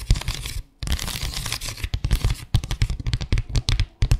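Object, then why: Small flat bamboo slat mat. Long acrylic nails scratch rapidly back and forth over the ridged slats of a small, flat bamboo slat mat. The result is a dense, bright rasp with dull low thumps under it. It breaks briefly near the start, then continues as quick choppy strokes.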